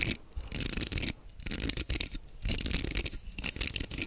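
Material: Plastic.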